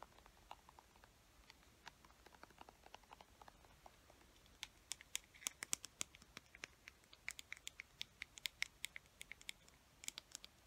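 Long fingernails tap and scratch a white plastic acrylic paint tube and its black cap. Quiet, sharp, bright clicks and light scratches come sparsely at first, then grow denser and louder after about four and a half seconds. Each tap dies away almost instantly, with very little low end.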